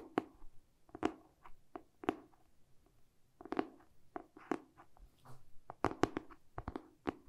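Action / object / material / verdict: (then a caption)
tap / hardcover book with cardboard cover / cardboard / none. A medium-sized, solid hardcover book with a glossy printed cardboard cover is held in both hands and tapped with short painted fingernails and fingertips on the cover and edges. About sixteen quiet, dull taps come in an irregular rhythm, mostly low-mid in tone with sharp clicky tops. Each one dies away almost instantly with no ring.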